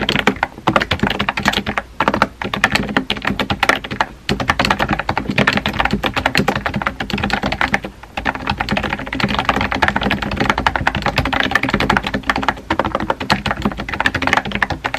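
Fingertips type steadily on a compact pink plastic keyboard with round white keycaps, producing a fast, continuous stream of short, dry clicky taps with brief pauses near 2, 4 and 8 seconds. Each keystroke is crisp and quick-decaying, with a faint low hum underneath.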